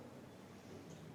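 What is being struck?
Nothing is struck.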